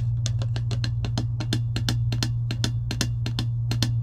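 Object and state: Plastic tumbler lid tapped with nails.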